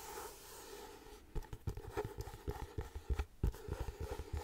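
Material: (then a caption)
Cardboard. Painted nails tap and scratch the front cover of a closed, floral paper-covered cardboard hardcover notebook held in both hands. A soft, steady scratching hiss opens the clip, then gives way to quick, irregular, dull taps with low thuddy weight and brief scraping between them. The taps are short and dry with almost no ring.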